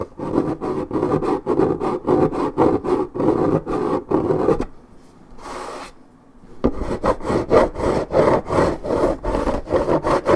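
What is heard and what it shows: Long nails scratch deeply at a scuffed spot on the coated cardboard of a 1.75 L Minute Maid paperboard orange juice carton. They make a rapid series of dry, raspy strokes centred in the mid-range. About halfway through there is a brief quiet pause with one soft brushing swish, then the scratching resumes.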